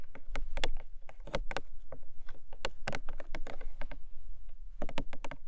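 Long nails tap and scratch the top of a long, narrow, hollow printed cardboard gift box. Quick, dry taps with brief broadband clicks sit over a steady low hum, mixed with softer scratching between the strikes.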